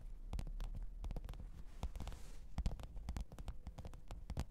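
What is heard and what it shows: Long pointed nails tap and scratch the top of a black textured faux-leather hard-shell microphone case with a zipper, lying flat on fur. A quick, uneven run of soft, dull taps comes through, heavy in the lows, with brief bright clicks and a rustling scratch between them.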